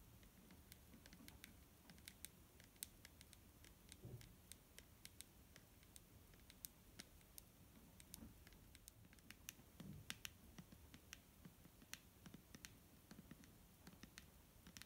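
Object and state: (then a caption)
Full plastic bottle tapped with nails. Long nails tap near the shoulder and label of a large, clear plastic micellar water bottle that is full of liquid and held in the hand. Quick, quiet, crisp clicks with a bright, very short ring come in irregular bursts for about 15 seconds over a soft, low, muffled background.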